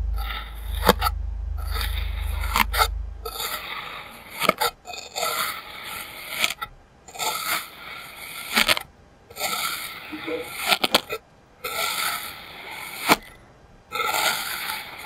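A solid patch of orange kinetic sand is cut and scraped with a clear plastic serrated knife. Repeated gritty, bright scraping strokes come in bursts with short pauses and occasional sharp clicks, over a low rumble during the first three seconds.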